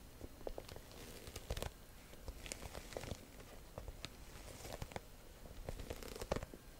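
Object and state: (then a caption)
Faux leather handbag scratched. A black croc-embossed faux leather top-handle bag, hollow, is held in both hands and scratched across its front with long nails. Dry, crinkly scratching comes as quick bursts of clicks and rasps with a low, muffled body, and no ring lingers after each stroke.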